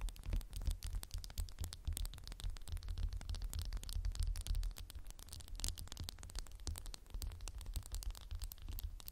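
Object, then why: Glass candle jar. Fingernails tap a candle in a textured glass jar in fast, continuous flurries, producing dense, bright, dry clicks that die away almost instantly. A steady low rumble sits underneath the whole time, and the tapping stays quiet throughout.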